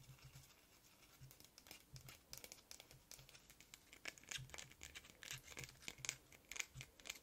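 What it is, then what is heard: Glass perfume bottle. Long red nails tap and scratch the glass sides of a small glass perfume bottle with purple liquid and a silver metal cap, held in the hand. Quick, irregular, bright clicks and scratchy rasps come at about two per second. Each tap is dry and stops almost at once.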